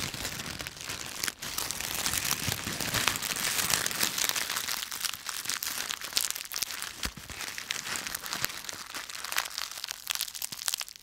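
A handful of dry yellow-green autumn leaves with stems is crushed and twisted in both fists, producing a dense, continuous crackling and crinkling. The crunches are bright and sharp with almost no low end, overlapping steadily throughout with a brief pause early on.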